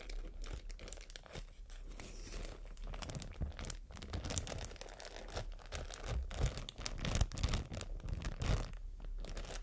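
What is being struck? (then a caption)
Thin plastic bag. A thin, empty white matte plastic bag is crinkled and rubbed between fingers with long dark nails. The result is a steady, irregular stream of close, crackling crinkles and soft tearing-like rustles, with bright, sharp crackle bursts over a low, muffled handling rumble.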